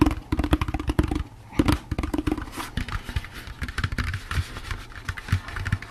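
A hollow, empty orange plastic jack-o'-lantern candy bucket is tapped quickly with the fingertips and nails. The result is a dense run of short, dry, hollow knocks, mostly low and thuddy with a faint tone around 300 Hz and little high-end sparkle.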